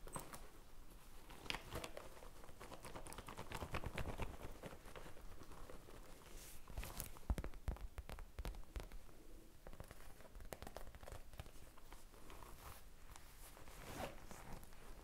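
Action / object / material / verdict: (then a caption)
tap / faux leather zippered pouch / faux leather / none. A medium pink faux leather zippered pouch, hollow, is held close to the microphone and tapped and rubbed with long painted fingernails. Soft, crinkly scratching and rustling runs throughout, dotted with quick muted taps over a quiet low rumble.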